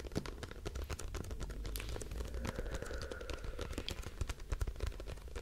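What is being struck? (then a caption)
Plastic cosmetic bottle. Long nails scratch along the printed label of a hollow grey plastic cosmetic bottle with a white cap. The result is a dense, fast run of dry scratchy ticks and clicks with a soft low rumble underneath, each tick dying away almost instantly.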